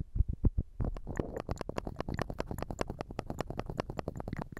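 A small square clear glass perfume bottle, partly filled with liquid and carrying a printed label, is held in the hands and turned while fingernails tap and scratch across it. A quick, steady run of short, dry clicks comes over soft low thuds and a faint scratchy rustle, with almost no ring after each tap.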